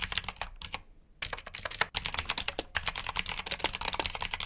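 Fingertips type on the keycaps of a black, backlit plastic mechanical keyboard with blue switches. Rapid, bright, clicky keystrokes rattle in quick succession, with a brief pause near the one-second mark before the typing resumes steadily.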